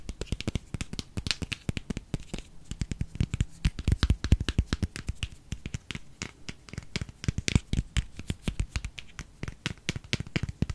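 A small pink plastic cosmetic squeeze tube, hollow and filled with cream, is held in both hands and tapped and scratched with fingernails. Rapid, irregular streams of short, dull, low taps come with crisp, bright scratchy clicks. Each hit dies away almost instantly, with no ring.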